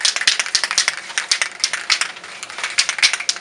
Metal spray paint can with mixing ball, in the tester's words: shake it until you hear that little ball rattling